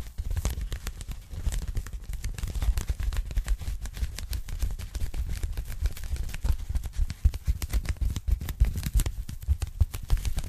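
A pink polyethylene foam packing bag, folded flat and held in both hands, is tapped quickly with long nails on its foam surface. The result is a dense, steady stream of soft, dull taps with a low, muffled thump and faint bright crackly clicks, each dying away almost instantly.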